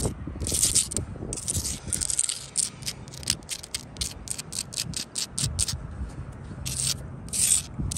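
Long blue acrylic nails scratch across a solid sandstone block wall with mortar joints, making bright, gritty rasping strokes. Some strokes are long and others come in quick rapid bursts, with a low rumble underneath.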